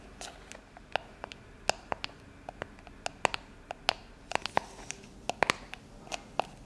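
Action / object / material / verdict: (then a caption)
tap / metal aerosol shaving foam can / metal / none. Long acrylic nails tap and scratch along the printed label of a cylindrical shaving foam can, likely a hollow, pressurized metal aerosol can with a clear plastic cap, lying on its side on a stone-like countertop. About 25 sharp, quiet clicks sound over a soft hiss, each with a bright, slightly tonal tick that dies away almost instantly.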